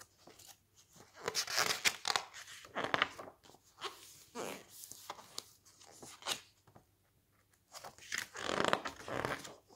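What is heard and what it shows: Fingertips grip and flip the thick coated pages of a glossy-paper cookbook lying open on a stack. Bursts of bright, crisp rustling and crinkling alternate with softer flapping and short quiet gaps. Each sound stops dead with no ring.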